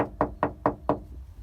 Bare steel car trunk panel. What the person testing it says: that sounds more hollow.